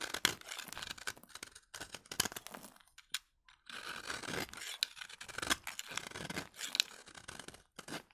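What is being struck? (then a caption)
Bar soap. A utility knife blade held under the thumb scrapes across a solid, dry vintage bar of soap, shaving powdery flakes off its surface. Short, crisp, bright scraping strokes with a dry, papery texture come in quick bursts, with a brief near-silent pause around the third second.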